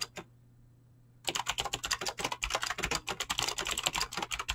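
Fingertips with short painted nails type fast on a full-size mechanical keyboard with Razer green clicky switches and pink-blue PBT plastic keycaps, resting on a desk. Two brief taps are followed by about a second of near silence, then a rapid, steady stream of sharp, bright clicky keystrokes that each die away almost instantly.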